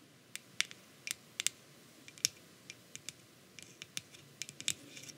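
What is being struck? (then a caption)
Aluminium aerosol can with plastic cap. Long acrylic nails tap and scratch the white plastic cap and body of a grey aluminium aerosol hair spray can. About eighteen sharp, bright clicks and ticks come in an irregular rhythm, each dying away almost instantly, with faint scratchy rustles between them and almost no low end.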